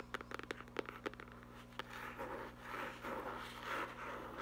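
Fingertips and long nails tap and scratch the cover of a small black textured faux-leather hardcover notebook. About ten quick, dry taps come first, then a continuous, soft, rasping scratch fills the rest of the clip.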